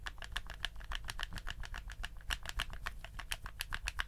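A black, hollow plastic PlayStation 4 DualShock controller is held in both hands while fingertips click its buttons and tap its shell. The result is a quick, uneven stream of short, dry, bright clicks and taps that stop almost instantly, over a steady low rumble.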